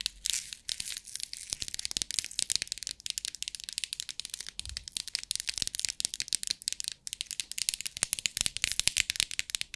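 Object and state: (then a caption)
Plastic compartment box of rhinestones. Long acrylic nails tap the lid of a clear plastic compartment box filled with rhinestones in many fast, bright clicks, while the box is tilted so the stones rattle inside. The sound is crisp and high with almost no low end, and each tap dies away instantly.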